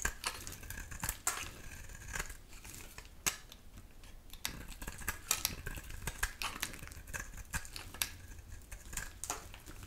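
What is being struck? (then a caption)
Bar of soap shaved with a metal blade. A dry, solid pink oval bar of soap with a pink core and black shell is held in the hand and scraped and shaved with a metal utility knife blade, sending thin pink curls falling off. Short, dry, bright scraping and crackling strokes repeat steadily over a low background hum, each ending quickly without ringing.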